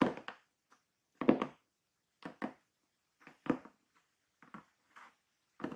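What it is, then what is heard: Cardboard shipping box, hollow. Hands hold a large, closed, hollow corrugated cardboard shipping box and tap its sides, then fingertips and nails scratch the top near the taped seam. Short, dull, hollow thumps and brushy scratches come in uneven bursts separated by silent gaps, each dying away almost at once.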